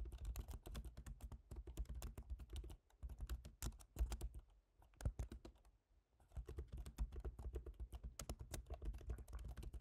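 Both hands type with their fingertips on a silver MacBook Pro, an aluminium laptop keyboard with plastic keys, tapping quick runs of soft clicks on the plastic keycaps. The typing pauses briefly near the three-second mark and again for over a second around the middle before resuming at a steady pace. A constant low hum sits beneath the taps.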